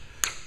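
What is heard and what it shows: A coin or pen taps twice on the laminated, glued-down doubler of a Bell 47 helicopter main rotor blade, checking for delamination. Each tap is a short, bright, high-pitched tick that dies away quickly. It does not sound hollow, so the bond is intact and the glue is not lifting.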